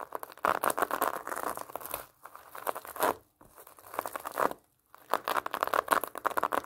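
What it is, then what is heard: Pomelo in plastic mesh net. Long nails scratch across a large whole pomelo wrapped in orange plastic mesh netting, scraping the net-covered rind. The result is a dense, dry crinkling and rasping centered in the mid-range with a bright edge, coming in busy bursts separated by a few brief silences.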